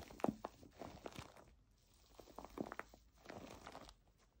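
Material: Plastic foam.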